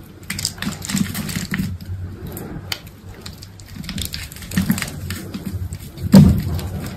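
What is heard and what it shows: A box-cutter blade cuts a grid of cubes into the face of a solid, dried green soap bar held in the hand. The cuts make dense, low crunchy scraping and crackling, with brief bright ticks as the blade drags through. A sharper, louder crack stands out near the end.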